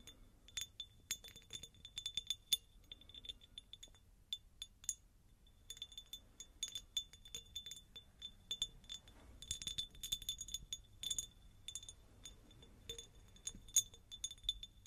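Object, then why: Cut-crystal glass jar. A hollow, empty, medium-sized cut-crystal glass jar is tapped with long nails, producing rapid bright clinks and ticks that ring only briefly. The taps come in dense bursts with a short lull partway through, carrying a thin, high glassy tone over a faint low background.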